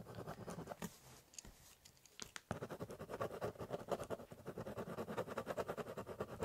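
A ballpoint pen scratches fast hatching lines onto the top of a large, hollow corrugated cardboard box. Dry scratchy strokes come first, then a quieter stretch. After that, a steady run of rapid, papery back-and-forth scrapes follows, with a hollow low body from the box.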